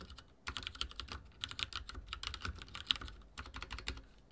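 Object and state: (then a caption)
Mechanical keyboard with plastic keycaps. Fingertips type rapidly on a backlit mechanical keyboard with dark plastic keycaps and a silver frame. Quick, bright, clicky keystrokes run in a dense, uneven stream, each tap dying almost instantly, with a few sharper, louder hits standing out near the end.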